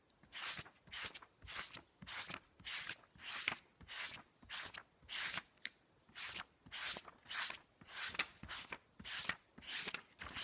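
Fingertips rapidly flip and riffle the cream paper pages of a large, thick hardcover book lying open on a blanket. Each turn gives a bright, airy paper swish and flutter. The swishes come in a steady, slightly uneven rhythm of about one and a half per second, with brief quiet gaps between them.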